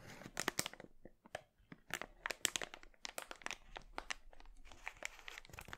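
Fingers crumple and crinkle an empty, glossy red, thin polyethylene mailer bag into a bunch while holding it over a wooden board. The result is a dense run of sharp, bright crackles and crinkles with quick snapping peaks, short pauses, and almost no low end.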